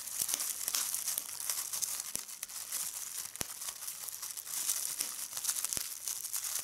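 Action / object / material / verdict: scrape / plastic bubble wrap / plastic / none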